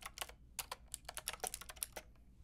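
Long nails and fingertips tap the round plastic keycaps of a white-pink backlit mechanical keyboard, with one hand typing near the end. About 13 quick, bright, clicky keystrokes land in an uneven rhythm. Each is quiet and dies away almost instantly.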